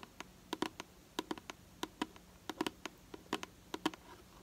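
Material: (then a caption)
Plastic. Long nails tap and scratch the side of a hollow purple plastic hair product bottle held in hand. About twenty short, sharp clicks come in an uneven typing-like patter, each with a hollow low-mid body and a brief bright edge that dies almost at once. A faint steady hum sits underneath.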